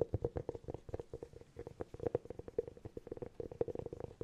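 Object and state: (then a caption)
Hollow cork object. A hollow cork object is tapped rapidly with fingernails in a quick, uneven patter of soft, dry clicks. Each tap is short and hollow-sounding, with a muffled resonance around 470 Hz and little bright content. The sound stays quiet and close throughout.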